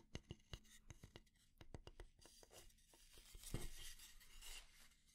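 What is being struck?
Wooden kitchen spatula.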